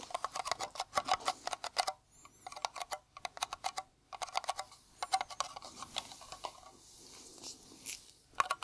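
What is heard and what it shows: Bare fingertips tap rapidly on a round, hollow blue Nivea metal tin held in the hand, making dense bursts of short, dry, tinny clicks with a ringing note around 1.1 kHz and bright high overtones that die away almost instantly. The bursts are broken by brief pauses, and a quieter stretch of soft scraping and rustling comes before a final few taps.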